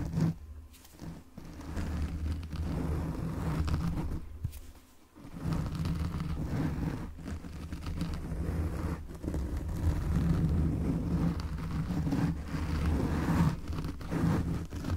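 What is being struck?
Foam microphone windscreen.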